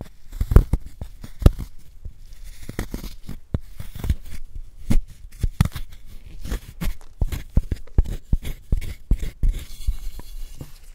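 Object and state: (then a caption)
Gym chalk block being scraped and crumbled. A wooden spoon scrapes and scratches into a palm-sized solid white gym chalk block held in a gloved hand, crumbling it into powder. Dense, dry crunching and scraping comes in quick irregular bursts with short, sharp transients, mostly low and muffled in tone.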